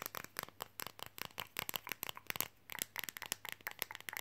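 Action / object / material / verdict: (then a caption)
tap / thin flexible printed fridge magnet / flexible magnet / none. A thin, red, flexible printed Coca-Cola fridge magnet is held in both hands and tapped fast with fingernails. The result is a rapid, uneven stream of quiet, sharp clicks that are bright and crisp, with almost no low end and no ring after each tap.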